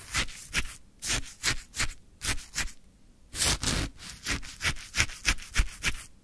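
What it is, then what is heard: Shaved ice scraped with wooden stick. A wooden stick scrapes repeatedly through a full plastic cup of orange frozen shaved ice. Each pass makes a short, crunchy, gritty scrape with a bright, hissy top and a soft low thump. The scrapes come in a quick, uneven rhythm separated by brief silences.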